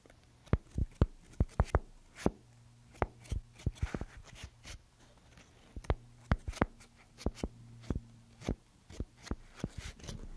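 A handheld paper paint swatch fan deck, its strips bound at one end, is flipped and riffled with fingertips and long nails. The result is an irregular series of short, dry paper flicks and crisp taps with a brief papery rustle, over a quiet low hum.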